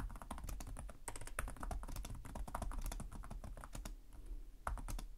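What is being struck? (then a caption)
Plastic laptop keyboard. Both hands type with their fingertips on a black laptop's plastic chiclet keys over a hollow chassis, making rapid taps. The result is a dense, continuous run of short, quiet clicks, each a bright tick over a dull, hollow low thump that dies away almost at once.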